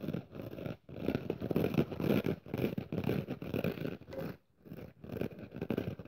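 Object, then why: Kitchen sponge with abrasive scouring pad. Long nails scratch and rub the red abrasive scouring surface of a dry pink and red kitchen sponge with a foam side, held up in one hand. The result is a dense, raspy scratching in rough strokes of about two per second, fuller in the low-mid range with only faint brightness. Brief pauses break the strokes just before the one-second mark and around four and a half seconds.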